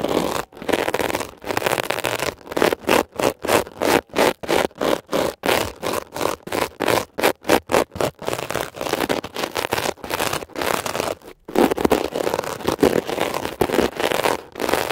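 A thin metal ear pick tip scrapes across a blue scrubber sponge with a glittery woven mesh cover over soft foam, held flat by fingertips. Quick, rhythmic, dry scratchy strokes come in a steady run of short bursts through the middle, with denser, more continuous scraping at the start and end. The sound is mostly midrange with almost no low end.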